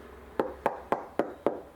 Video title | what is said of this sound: Comparing the Weatherby Vanguard II to the Howa 1500 | there's nothing wrong with the hollow coconut sound when you tap the butt stock